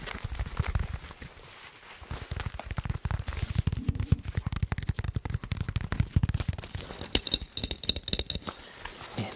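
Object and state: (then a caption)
Nylon plate carrier. A medium-sized, black nylon (Cordura-style) tactical plate carrier with MOLLE webbing, probably empty, is held up close and tapped and scratched across its fabric with fingertips and nails. The result is a rapid stream of dull, low, thumping taps with very short decay, mixed with dry, crackly scratching and a brief stretch of higher, brighter scraping.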